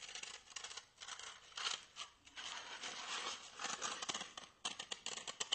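A small white solid styrofoam block is held upright and quickly scratched and tapped with fingernails and fingertips. Squeaky, bright friction sounds come in rapid bursts, with sharp taps near the end.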